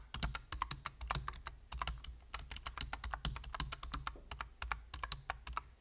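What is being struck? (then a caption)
Plastic computer keyboard. Rapid typing on a full-size black plastic computer keyboard with a hollow body and plastic keys, tapped with the fingertips of both hands. Quick, dry, bright key clicks come in an uneven, fast stream over a soft low thump, each click cutting off instantly with no ring.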